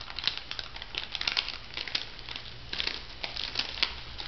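An orange plastic foil cosmetic sachet is crinkled and flexed by fingertips with long nails. It makes a dense, bright crinkling full of sharp, short crackles, with little low end beneath a faint steady hum.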